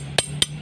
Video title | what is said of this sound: SEKILAS INFO " Jangan Sampai Salah Pilih Golok Untuk Sembelihan " | dia akan terdengar bunyi nyaringnya